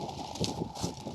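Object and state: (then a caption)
Unripe soybean plant, no bean rattle. A still-green soybean plant is shaken in a rattle test, giving only a soft, dull rustle of leaves and stems. No beans are heard rattling in the pods, so the plant is not ready for harvest.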